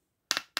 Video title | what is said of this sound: Reglette Industrielle 1960 / Partie 1 | on n'entend plus ça sonne plein